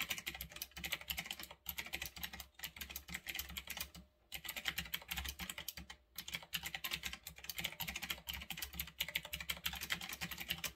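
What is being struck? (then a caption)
Mechanical keyboard with round plastic keycaps. Fingertips type fast on a retro typewriter-style mechanical keyboard with round backlit plastic keycaps, resting on a desk. Dense bursts of bright, sharp clicks run almost continuously, broken by a few brief pauses, with a faint low hum underneath.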